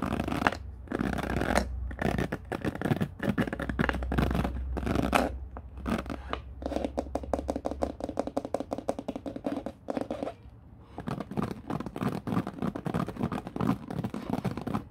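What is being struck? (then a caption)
Plastic paddle hairbrush bristles. Fingertips strum and rake the white-tipped bristles of a black plastic paddle hairbrush lying on a wooden floor. The result is bursts of dry, rapid, scratchy bristle flicks, with a low steady hum underneath during the first half. After a brief quieter gap, the raking flicks resume.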